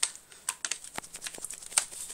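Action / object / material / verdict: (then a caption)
shake / metal airsoft rifle / metal / tight. An all-metal KWA M4A1 SIR/S-System airsoft rifle is shaken, giving only faint, bright, short clicks and ticks with no low-end rattle. The rifle sounds tight, well built and rattle-free, and the slight noise is normal, since the real steel version makes it too.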